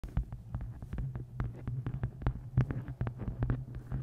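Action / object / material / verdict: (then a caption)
tap / hardcover book cover / cardboard / none. Long painted nails tap and scratch the cover of a dark hardcover book with a square photo inset, held flat on top of a microphone. Quick, closely spaced taps land as deep, muffled thumps with short clicky edges over a steady low hum, with each tap dying away almost at once.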